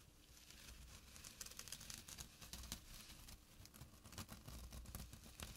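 Fingertips and short nails scratch the weave of a small, flat burlap drawstring pouch. The result is a quiet, continuous, dry rasping crackle with bright, high scratchy bursts over a soft low rumble.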